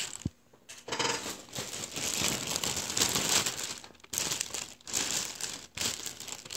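A heap of deflated, empty blue metallized mylar star balloons, thin hollow film, is crumpled and crinkled with the fingertips and palm. The result is dense, bright crackling and rustling, almost all high in pitch with very little low end, in long continuous bursts broken by brief quiet gaps.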